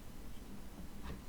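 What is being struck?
Nothing is struck.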